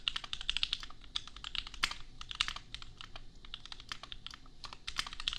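Fingertips of both hands type quickly on a $250 custom compact mechanical keyboard with Gateron Milky Yellow switches and red and pink plastic keycaps. The result is a dense, steady run of short, bright clicky clacks with almost no ring, over a faint low rumble.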